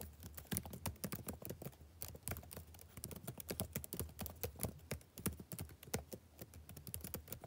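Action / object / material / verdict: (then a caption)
tap / plastic laptop keyboard keys / plastic / none. Fingertips type rapidly on the black plastic chiclet keys of a backlit laptop keyboard glowing blue. A quick, uneven stream of short, sharp clicks and taps ends each keystroke almost at once, over a faint steady low hum.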